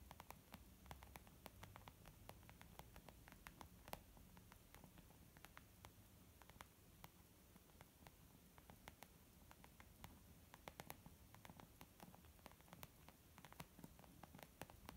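Long nails and fingertips tap on a small white textured leather zip makeup bag lying flat, which feels soft and hollow. Many quick, dry, clicky taps patter continuously over a quiet, low, hissing background, each dying away almost instantly.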